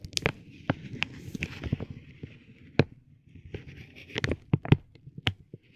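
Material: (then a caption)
Vinyl plastic. A metal ball-tipped stick taps and rubs a soft, clear vinyl plastic bag wrapped around a tape roll resting on a gold plate. Sharp, dry clicks with almost no ring are heard over a low, continuous crinkling rustle, with a band of brighter crackle in between.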